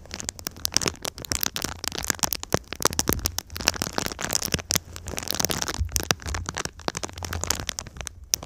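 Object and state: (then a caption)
Foil-faced foam insulation sheet. Long pink nails tap and scratch the crinkled surface of a flexible silver foil-covered foam insulation sheet bent into a V shape over the microphone. The result is a dense, steady stream of sharp, bright crackles and crinkly taps with almost no ring, over a faint low rumble.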